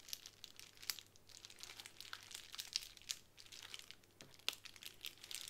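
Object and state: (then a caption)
Plastic bubble wrap. A plastic bubble wrap sheet is scratched with fingernails on a table, then lifted and crinkled in the hands. The sound is a quiet stream of bright, dry crackles, scratches and sharp little pops with almost no low end. Each tick dies away instantly.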